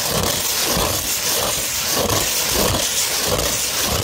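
Long, pointed, red-painted nails scratch a thin, flexible sheet of fine tan 240-grit sandpaper held flat and slightly curved. The result is a steady, bright, gritty hiss with soft rhythmic swells as the nails drag back and forth.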